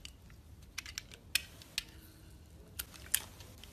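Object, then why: Bar of soap cut with a metal blade. A solid purple bar soap, held in a hand with purple nails, has thin layers sliced off with a metal utility blade. Each cut makes a short, crisp, bright snap or scrape at irregular intervals over a quiet, soft background hiss. The sounds end abruptly, with no ring.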